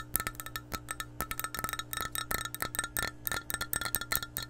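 An empty, hollow clear glass measuring cup is tapped with long painted nails in a quick, irregular series of light clicks. Each tap gives a short, bright, chime-like ring over a faint steady low hum.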